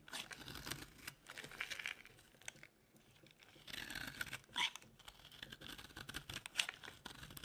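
A dry, solid white bar of soap is held in the hand and carved with a metal blade, with yellow shavings from an earlier bar lying nearby. Bright, crisp scraping and crinkly tearing strokes come in bursts, pause briefly in the middle, then resume with a few sharper crunching cuts.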